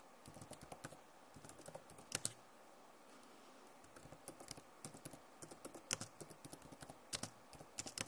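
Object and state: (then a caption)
Plastic laptop keyboard. Long nails tap on the plastic keycaps of a backlit Acer laptop keyboard, making about 25 quick, bright clicks. The clicks come in uneven bursts with a quiet pause in the middle, and each one is crisp and dies away almost instantly.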